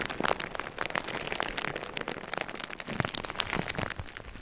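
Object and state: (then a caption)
Plastic bubble wrap. Clear plastic bubble wrap laid over a microphone is tapped and scratched with fingertips and nails. A dense, continuous stream of crisp crinkles and small ticking taps fills the clip, bright and close, with little low end.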